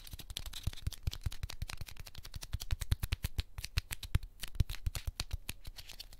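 A small, light white heart-shaped piece of solid corn starch foam packing cushion is pinched and squeezed between the fingertips of both hands until it crushes, while other foam hearts lie untouched on a pink ribbed mat. The foam gives a rapid run of dry, sharp crackles and snaps that stop instantly, with a low thump under each one and faint high crispness.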